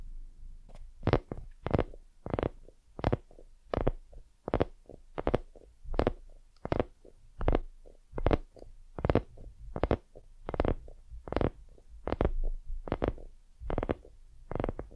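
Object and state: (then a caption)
Silicone lamp tapped and scratched with nails. Long nails tap and scratch all over a white, soft, hollow silicone dumpling lamp held in both hands. About 28 short, dull taps come in an uneven rhythm, each with a low, muffled thump and a brief brush of scratching between them. The taps die away almost instantly with no ring.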